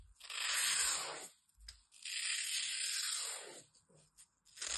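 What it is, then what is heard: Dry floral foam block being cut. A utility knife blade cuts and scrapes into the side of a small, solid, dry green floral foam block held in the fingers, with long red nails gripping it. Two long, bright, hissing tearing strokes rise and fade, separated by brief quiet gaps with faint crunches, and a third stroke begins at the end.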